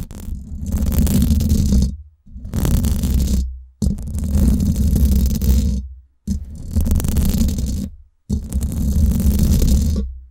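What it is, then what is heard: Metal mesh microphone grille being scratched. Long acrylic nails scratch and grip the hollow, silver woven-wire dome grille of a Blue Yeti microphone. Five sustained bursts of close, boomy scraping with a deep rumble are separated by brief silences, with a faint bright hiss over the low thrum.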